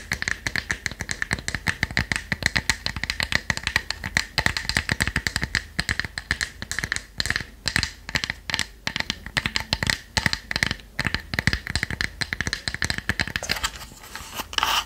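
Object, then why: Small plywood box. Long nails tap quickly on the front and edges of a small, light, hollow plywood box shaped like a treasure chest with a brass clasp, held closed in both hands. The result is a rapid, continuous stream of dry, clicky taps with almost no ring and a steady bright tone near 1.9 kHz. Near the end the taps thin out into a brief, softer, brighter scratchy patch.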